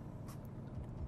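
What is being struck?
Nothing is struck.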